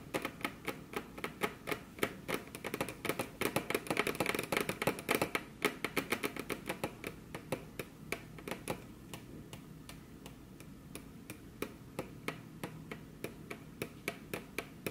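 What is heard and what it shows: Very long curved nails tap their tips in quick, uneven bursts on a flat, solid, glossy dark-brown wood-grain table top, with the hands crossed. The dense, sharp clicks peak in a busier stretch around the middle, then thin to sparser taps over a quiet, steady background.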